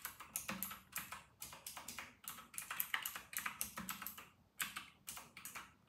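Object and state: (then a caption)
Plastic mechanical keyboard. Fingertips of both hands type fast on a white and grey RK960 plastic mechanical keyboard with round plastic typewriter-style keycaps. The result is a rapid stream of bright, crisp clacks in uneven bursts, some with a faint low thock beneath, each dying away quickly between short pauses.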